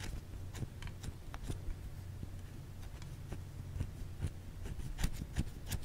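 Long fingernails scratch a white solid bar of soap held in the hand, producing short, irregular, bright scratchy clicks. The clicks sit over a steady low hum.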